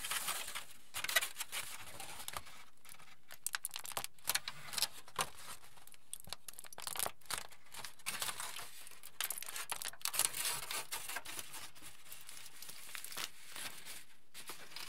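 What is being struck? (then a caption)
Aluminium foil sheet. A large, wrinkled sheet of crumpled aluminium foil, held up in both hands, is crinkled and handled with the fingertips. The result is a steady, quiet stream of bright, crackly rustling, broken by brief louder crinkle bursts, with no talking.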